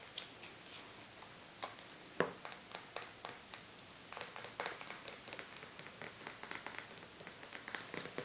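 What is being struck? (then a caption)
Small glass bottle. Fingertips and nails tap, scratch and rub around a small, hollow, apparently empty glass cider bottle with a metal cap, held in both hands. Quiet, bright clinks and short, dry taps come over a soft scratchy rubbing, with one sharper tap giving a brief mid-pitched ping. A thin high whine runs through the latter part.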